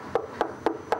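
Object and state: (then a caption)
Unfired earthenware pot, dry. Four evenly spaced taps on a dried, glazed but unfired onggi earthenware pot, checking whether it is dry enough. Each tap gives a short, clear knock with a tone near 330 Hz that fades within a fraction of a second. The clear sound shows the pot is nearly dry and ready for the kiln.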